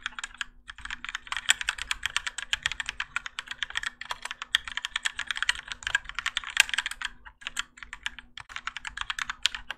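Both hands type continuously with their fingertips on a Keychron K4 compact mechanical keyboard with Gateron Yellow switches, grey and orange ABS plastic keycaps, and a plastic and metal case resting on a desk mat. The result is a rapid, steady stream of short, bright, clacky keystrokes centered in the mids around 1.6 kHz, with brief pauses near the start and about three-quarters of the way through. A faint, steady low hum sits underneath.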